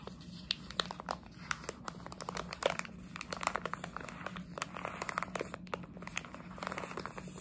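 A plastic jelly bean bag is squeezed, crinkled and scratched with long nails. The result is a quiet, dense stream of sharp plastic crackles and scratchy ticks that reach up into bright highs, over a steady low hum.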